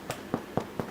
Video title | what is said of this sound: Homemade Bread | knock on the bottom hear that sounds Hollow means it's done